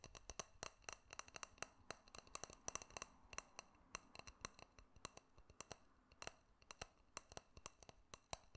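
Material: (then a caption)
Glass. Fingernails tap and click on a small, hollow, clear glass jar with a silver metal screw lid, held close to a microphone. Dozens of quick, dry, bright clicks and taps come in an irregular flurry, each dying away almost at once, over a faint low hiss. The result is a quiet, crisp, glassy and metallic tapping texture.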